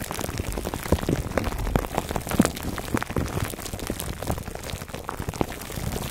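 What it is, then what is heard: Plastic-wrapped foam microphone cover. Fingertips and nails scratch the sides of a foam microphone cover wrapped in clear plastic, heard up close. A steady, dense crackle of crinkling plastic and soft scratches runs throughout, with quick brighter pops and a full low rumble underneath.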